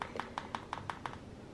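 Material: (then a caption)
Epoxy resin. A hardened epoxy resin surface over a gummy-bear canvas is tapped seven times, the day after the resin was poured. Each tap is a short, crisp click centered near 940 Hz that dies away almost instantly. The sharp, hard sound shows the resin has fully cured and set hard.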